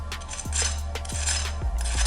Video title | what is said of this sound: Easy General Tso's Chicken - Mike Myers and Air Fryers | you can hear just how crispy that is